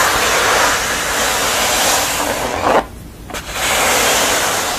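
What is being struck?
Wooden canvas stretcher frame.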